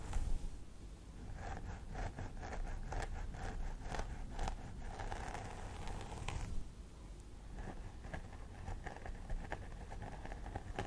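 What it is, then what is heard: Plastic doll head with synthetic hair. Both hands pick and scratch with long nails at the part line of a life-size plastic doll head with synthetic hair. Crisp, dry scratching and short scrapes repeat over a steady low rumble, with a burst of brighter, busier strokes in the first half that thins to lighter scratches toward the end.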